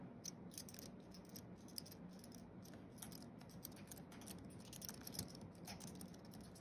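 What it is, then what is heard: Aluminium and plastic keyboard being typed on. Fingertips of both hands tap quickly across the white plastic keys of a thin wireless keyboard with a flat aluminium base, typing. The result is a quiet, steady stream of soft, bright clicks that die away almost instantly over a low, dull body.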